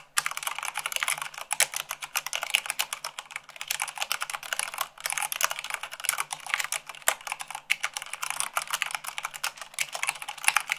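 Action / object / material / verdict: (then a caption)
tap / mechanical keyboard with plastic keycaps / plastic / none. Fingertips with long acrylic nails type fast on a full-size mechanical keyboard with white plastic keycaps on a black base. The result is a dense, rapid stream of sharp, bright plastic clicks and clacks with almost no low end. Each keystroke dies away instantly.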